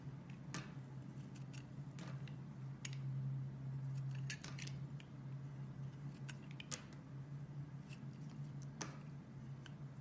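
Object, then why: Bar of soap cut with a metal blade. A metal blade slices thin pieces off a solid pink bar of soap held in the hand, giving crisp, brief cutting and scraping clicks with bright, short transients. The clicks come irregularly over a steady low hum.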